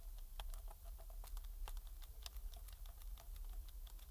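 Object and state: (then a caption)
Plastic game controller being scraped. A metal pick scrapes around the base of the thumbsticks and face buttons on a hollow black plastic PS4 controller. Quick, bright ticks and short scratches come in an irregular patter over a steady low rumble. Each sound dies away almost instantly, and the whole clip stays quiet.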